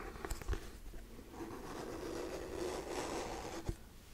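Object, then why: Hardcover paper book. Fingernails tap and scratch the solid cardboard-and-paper cover of a hardcover book. A few short, dull taps open the clip, followed by a steady, grainy scratching across the cover, then one last sharp tap near the end.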